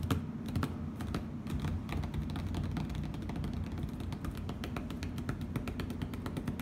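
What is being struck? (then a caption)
Plastic tablecloth on a table. Fingertips and nails tap and scratch across a flat plastic heart-print tablecloth on a table, hands spread over its surface. Quick, dry, bright clicks and ticks come in irregular bursts, like keyboard typing, over a steady low rumble.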